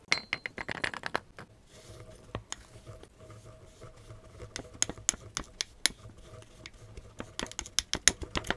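Green kinetic sand balls in a tall clear glass mug are crushed and packed down with a black tamper tool while a gloved hand holds the glass. Many sharp, bright crackles and clicks come in quick clusters, easing into a quieter stretch of soft crunching with a low hum before the crisp pops pick up again toward the end.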